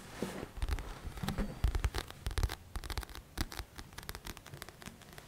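Fingertips and short nails scratch and tap the coated card front cover of a thick, solid paper paperback copy of "The Magic of Thinking Big" held upright close to the mic. A quick, uneven run of dry taps and scratchy strokes carries soft low thumps with bright, papery edges. Each sound dies away almost at once.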